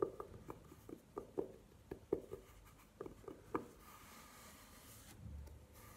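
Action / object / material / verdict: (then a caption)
scrape / velvet-covered hard jewelry case / velvet / none. Long nails scratch and tick against a hollow, hard jewelry case covered in burgundy velvet, standing upright on a table. Short, dull, muffled clicks come in an uneven series for the first three and a half seconds, then give way to a steady, soft, brushing scratch across the velvet.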